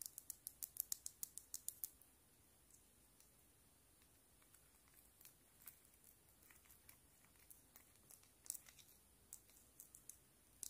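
A small hollow plastic Keroppi frog figure on a metal keyring is tapped and scratched with long black nails. A rapid run of sharp, bright clicks fills the first two seconds, then sparser, quieter taps and light scratches continue over a near-silent background. The sound is dry and clicky, with almost no ring or low end.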